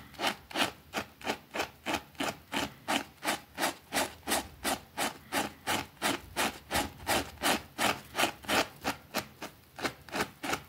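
A white plastic brush scrubs a small, thin, soapy green fabric rug lying on a concrete floor. About 31 steady, rhythmic strokes, almost three per second, each make a bright, broadband swishing rasp with little low end. The strokes stop cleanly between passes with no ring.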